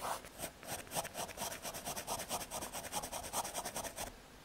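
A graphite pencil scratches hatching and shading across the surface of a small, thin square of solid brown MDF fiberboard. About fourteen quick, dry strokes follow one another in a steady back-and-forth rhythm, each a bright, rasping scrape with a papery midrange. The scratching stops just after four seconds, leaving only faint quiet.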